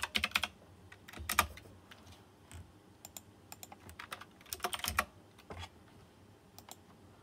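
A fingertip types on a white plastic mechanical keyboard with round chrome-rimmed keycaps and RGB lighting. Uneven bursts of short, bright, clicky keystrokes come in quick clusters with brief pauses between them, each click dying away almost instantly.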